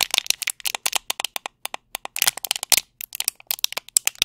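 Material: Plastic.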